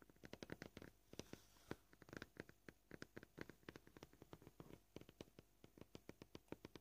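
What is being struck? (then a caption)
Plastic cutting board. Short polished fingernails of both hands tap a flat, solid white plastic cutting board with knife scratches, lying on a table. Dozens of quiet, dry clicks come at a varying pace, some in quick bursts and some spaced apart. Each tap stops almost instantly with no ring.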